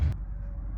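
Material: Nothing is struck.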